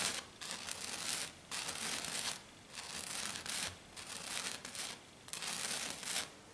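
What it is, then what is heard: Glitter foam sheet. Long dark nails on both hands scratch fast and hard across a flat silver glitter sheet, probably glitter foam. The result is a series of bright, hissy, crinkly bursts of scratching, separated by brief quiet pauses.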